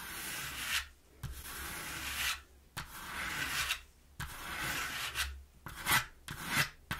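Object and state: Cardboard box.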